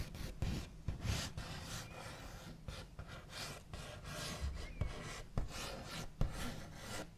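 The backs of fingernails scrape, tap and trace along a large, solid wooden table top with a smooth white-painted finish. The result is a steady scratchy rubbing texture in repeated strokes, broken by soft, low knocks with very little ring.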